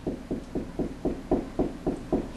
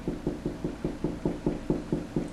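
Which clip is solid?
The second.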